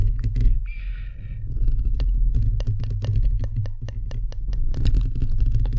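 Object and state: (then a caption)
Metal microphone mesh grille scratched and tapped. Fingernails and fingertips of both hands scratch and tap on the hollow, perforated metal mesh grille of a bare microphone head. Dense, boomy low rumble with a hum around 59 Hz runs throughout, cut by many sharp, clicky taps that crackle up into the high range. A brief bright, raspy scrape of nails across the mesh comes early on.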